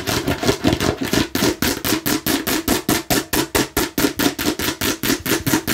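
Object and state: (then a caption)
Hollow plastic bottle. Long nails rapidly tap and scratch the red surface of a hollow plastic watermelon-slice bottle. About 26 quick, dry clicks land in a steady run, each with a hollow mid-pitched knock and a bright scratchy edge that dies away almost at once.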